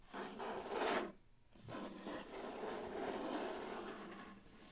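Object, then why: Cardboard mailer box. Fingernails scratch and rub the lid and edges of a medium, hollow brown cardboard mailer box, making a dry, raspy scraping sound. A burst of scratching is followed by a brief pause, then a longer stretch of steady rubbing that fades out.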